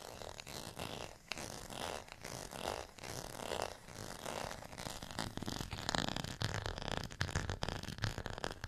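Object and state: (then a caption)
Textured plastic rice paddle being scratched. Long fingernails scratch the bumpy face and ridged edge of a small, solid beige ridged plastic rice paddle. The result is a dense, continuous run of dry, raspy scraping with quick, closely packed strokes that swell and fade in waves, sounding like a zipper.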